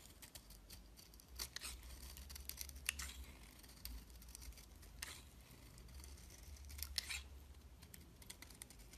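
A box-cutter blade shaves and scrapes curls off a hand-sized, solid white bar of soap with a thin blue outer layer, held in hand over a pile of shavings. Quiet, crisp scraping strokes crackle with bright texture, with several louder shaving passes standing out over a steady low hum.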